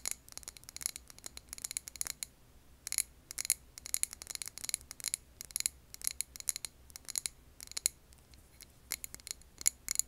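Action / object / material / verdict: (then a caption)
tap / glass candle jar filled with wax / glass / none. Long nails tap and scratch the wall and rim of a medium glass candle jar filled with green wax, held in the hands. Bursts of quick, crisp, high-pitched clicks and brief scratches come in clusters with short pauses between them. The sound is bright and thin with almost no low end, and each tap dies away at once.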